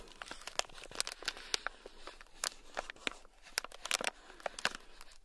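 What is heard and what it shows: A thin black stick scratches across a small, sealed, clear plastic bag that is full and packed with tiny gold beads. The result is a quiet, bright, crinkly rustle broken by quick, sharp ticks and crackles that stop dead with no ring.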